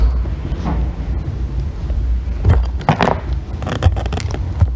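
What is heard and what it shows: A thin metal loop tool scrapes and shaves a solid green bar of soap standing on end, held with long nails. Dry, rasping scrapes rise in short bursts over a steady low rumble, growing denser and sharper in the second half.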